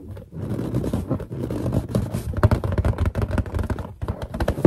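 Long painted nails tap fast on the surface of a large, hollow, inflated white latex balloon with a character drawn on it. The result is a dense, rapid run of dull, low thumping taps with a slight scratchy edge, dry and with no ring after each hit.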